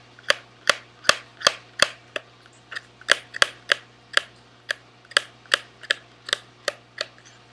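A small, sealed SweetTarts cardboard candy box, held in one hand, is sharply tapped with the fingertips of the other hand. Eighteen dry, crisp taps sound at a fairly steady pace, each bright and hollow with almost no ring.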